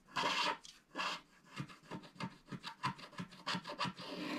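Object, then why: Coated cardboard scratch art card. Fingertips rub across a flat, solid cardboard scratch art card that is mostly scratched free, wiping off the leftover black coating flakes. Two longer, broad rubbing sweeps open the clip, followed by a quicker series of short, dry, raspy strokes with a bright, papery hiss. The rubbing ends in a steady, soft scraping wash.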